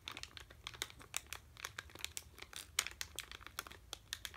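A sealed red plastic M&M's bag full of candy is held in both hands and crinkled and rubbed with the fingertips. It makes a quiet, steady stream of bright, crisp crackles and ticks. Each snap dies away almost instantly, with very little low-end body.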